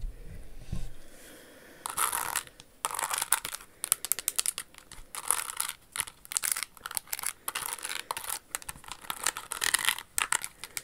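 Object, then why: Rhinestone-covered high-heel shoe. Long acrylic nails tap and scratch the rhinestones on a single pink Jimmy Choo high-heel pump with a pink crystal bow on the toe. After a quiet start with a soft low thud, the nails make rapid, bright, gritty scratching bursts with short gaps between them. Each sound cuts off dry, with no ring.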